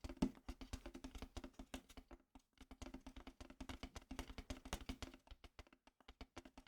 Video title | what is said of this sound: ASMR Tapping on a Wooden box and talking about Nintendo Direct | as you can tell it's very Hollow